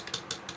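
Three light taps on the plastic drive shaft coupling on the axle of an RC Adventure MN 128 RC car give short, bright clicks with little low end that die away almost at once. The tapping shows the coupling is plastic, with only the axle and gears being metal.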